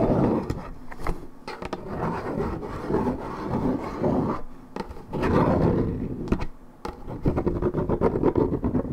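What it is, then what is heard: Paperboard juice carton being scratched. Long nails scratch the surface of a hollow Minute Maid 1.75 L coated paperboard orange juice carton, fill unknown. Dense, low, rough scraping comes in waves, broken by sharp clicks and brief quiet gaps. The scratching grows choppier and more rhythmic near the end.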